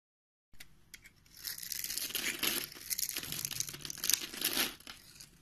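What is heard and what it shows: A palm-sized solid pink bar of soap, pre-scored in a grid and held in the hand, is carved and scraped with a utility knife blade that cuts off small cubes. The blade makes crisp, bright, crumbly scraping and tearing sounds that swell through the middle of the clip, with little low end, before easing off at the end.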